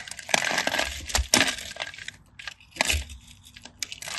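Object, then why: Bar of dry soap. A craft knife cuts through a scored grid on a solid cream bar of dry soap held in the hand, scratching and cutting as chunks crumble off. Dry, bright crunching and scraping come in uneven bursts, with short crisp cracks and brief quiet gaps between strokes.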